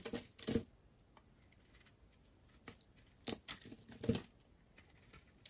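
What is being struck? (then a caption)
Soap bar. A metal blade shaves curls and chunks off a solid, rectangular, pale yellow bar of soap held in the hand. Short, crisp scraping and tearing bursts come in irregular clusters, with quiet pauses between them.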